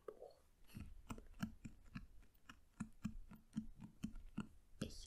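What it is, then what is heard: Paperback book tapped. A solid paperback novel with a paper/card cover, "Der Lavendelgarten," is held in one hand while fingernails tap and scratch across its cover. About fifteen quiet, dry taps land at an uneven pace, each a short, dull knock with a low tone around 220 Hz that dies away almost at once. Soft, bright scratching rustles sit between the taps.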